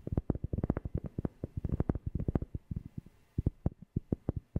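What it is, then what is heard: Cork being tapped. A cork object is tapped close to a FIFINE K690 microphone in a fast, uneven run of taps, with a brief pause near the three-second mark. Each tap is a deep, bassy, muffled thump centered low around 86 Hz that dies away almost instantly, with no bright ring.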